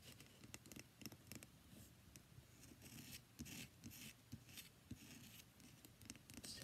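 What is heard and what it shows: Long nails scratch and tap the face of a solid cream-white bar of soap with embossed lettering, held up close. The quiet, dry scratching comes as bright, crackly strokes mixed with soft, short taps, each stopping dead with no ring.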